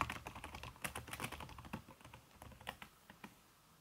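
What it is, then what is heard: Laptop keyboard with silicone cover. Fast typing with fingertips and long red-painted nails on a backlit aluminium laptop keyboard whose plastic keys are covered by a red silicone skin. A rapid stream of soft, dull clicks and taps with short, bright ticks runs throughout, growing quieter and sparser toward the end.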